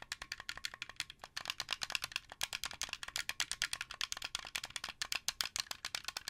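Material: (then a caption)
Plastic. Fingernails and fingertips tap the buttons and thumbsticks of a translucent blue, hollow plastic Xbox 360 controller. The result is a fast, uneven run of dozens of sharp, rattly clicks that are bright and dry, with almost no low end and no ring after each tap.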